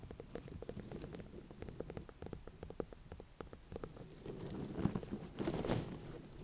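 A small ribbed orange-and-cream ornamental pumpkin with a firm rind is held in the hands and tapped and scratched with long dark nails. Quick, irregular soft taps patter along with dull, low knocks. Scratchy rustling swells near the end.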